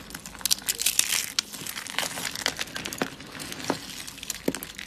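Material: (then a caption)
Soap. Fingers squeeze, crush and rub handfuls of thin, dry, light-blue soap flakes piled in a yellow tray. The result is a dense, bright, crinkly crunching made of many sharp, dry crackles that stop instantly with no ring, with a few louder snaps standing out.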